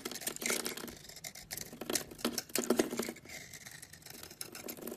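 A solid cream oval bar of soap held in the palm is shaved and carved with a utility knife, with curls and chunks coming off. Crisp, bright scraping and shaving strokes repeat in quick bursts, with soft crumbly ticks between them.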